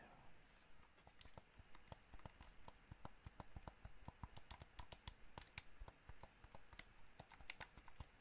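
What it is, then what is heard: Plastic game controller. Fingertips and nails tap and press the buttons and shell of a hollow white and black plastic PS5-style gamepad held in both hands. The result is a quick, irregular run of short, dry clicks and taps, each with a low thump and a bright plastic tick that dies away almost at once.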